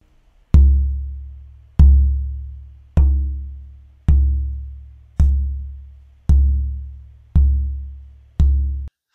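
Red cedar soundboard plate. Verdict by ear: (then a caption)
Resonant. The right half of a Canadian red cedar soundboard plate pair for an oud is tapped repeatedly, about once a second, and each tap gives a deep, booming thud centred near 66 Hz that decays over roughly a second. Its tone is close to C, and the red cedar gives much more vibration and feedback than the spruce.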